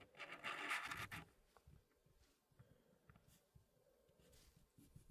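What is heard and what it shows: Fingertips slide and click small solid wooden pieces in the corner of a small square wooden tray with a light wood base, part of an Elegance wooden packing puzzle. A loud, bright, scratchy burst of wood rubbing against wood opens the clip, then fades to soft, dull clicks and light scrapes as the pieces settle.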